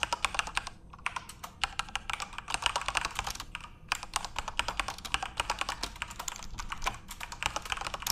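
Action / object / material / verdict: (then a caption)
tap / mechanical keyboard with plastic keycaps / plastic / none. Fingertips type rapidly on a full-size RGB-backlit Corsair mechanical keyboard with plastic keycaps. The result is a steady stream of sharp, bright clacks with very little low end, each keystroke dying away almost instantly. There is a brief lull just before the four-second mark.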